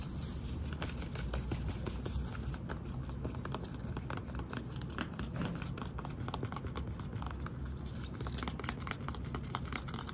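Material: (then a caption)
Plastic. A hand-sized, hollow green plastic Vaseline lotion bottle, held in one hand, is tapped and scratched with fingertips and short nails. The result is a steady, dense patter of soft, dull taps with a low, hollow body and faint scratchy crinkles over ten seconds.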